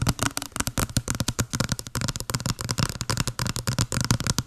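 Long blue nails tap rapidly on a small, hollow white cardboard box with a blue pattern, held over the mic. A quick, dense run of hollow, papery taps is heard: each has a low boxy thump and a bright, crackly click, and each dies away almost at once.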